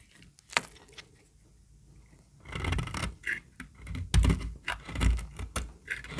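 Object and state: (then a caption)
Dry bar soap. A solid yellow bar of dry soap, held in the hand, is scraped and cut with a snap-off utility knife blade. A sharp click and a quiet pause give way to bursts of gritty scraping and crisp cutting, some with dull low thumps. The soap crumbles with dry, crackly bright edges.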